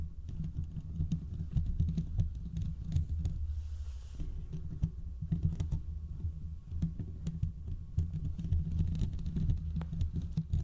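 Fingertips and short nails of both hands scratch the hollow domed steel mesh grille of a large desktop condenser microphone. The result is a dense, continuous run of low, booming rubs and soft thumps with faint bright scratchy ticks on top. It briefly drops to a quiet hiss around the middle before the scratching resumes.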